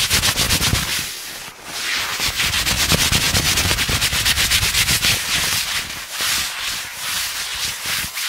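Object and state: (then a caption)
Denim jeans scratched. Fingertips and short nails scratch and rub blue cotton denim jeans worn over a raised knee and thigh, right up close to the microphone. Fast, steady strokes make a bright, dense scraping texture with soft low thumps underneath, continuing with brief dips throughout.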